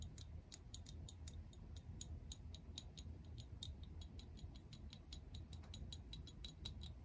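A translucent frosted plastic toner bottle with a pink cap, holding liquid, is tapped with long acrylic nails. It makes a quick, steady stream of light, crisp clicking ticks that die away almost instantly, over a low, quiet rumble.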